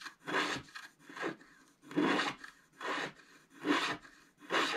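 A wooden stylus scratches the black coating near the top of a flat scratch-art paper card. Six dry, rasping strokes, each a broadband scrape with a bright, papery hiss and little low end, are separated by short pauses at a loose, uneven rhythm.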